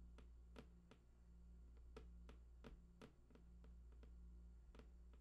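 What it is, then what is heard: Cardboard box tapped. Fingertips tap irregularly on the right side edge of a large, hollow, printed cardboard PlayStation 4 box with unknown contents. Each tap is a short, dull knock with a quick bright click on top, over a steady low hum.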